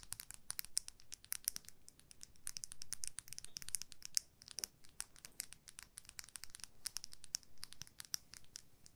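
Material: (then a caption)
Plastic. A makeup brush with a white, likely plastic handle and a dark metal ferrule is held in both hands while long manicured nails scratch and tap along the handle. Quiet, dense, bright clicks and scratchy ticks come in quick irregular bursts over a faint low rumble, each dying away almost instantly.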